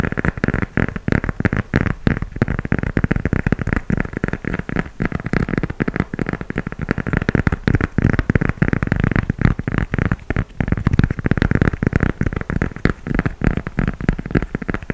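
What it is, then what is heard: Gum rubber shoe sole. Fingernails tap and scratch the tread of a tan gum rubber sneaker sole held up in the air. The result is a dense, steady stream of short, dry clicks and rubbery scrapes with no ring, weighted toward low, muffled tones and almost no bright top end.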